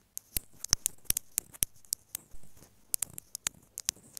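Long nails tap and scratch repeatedly on a small white plastic inline microphone housing on an earphone cable lying on fabric. Seventeen sharp, bright clicking taps are heard, each dying away almost instantly, with soft scratchy rustling between them and a brief scrape partway through.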